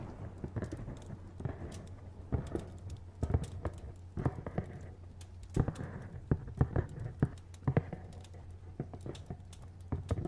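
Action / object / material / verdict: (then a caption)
tap / printed cardboard box / cardboard / none. Fingernails tap quickly and irregularly on a hollow, medium-sized printed cardboard retail box as it is turned in the hand. The taps are short, dull and hollow, with soft clicks over a steady low hum, and a few land harder than the rest.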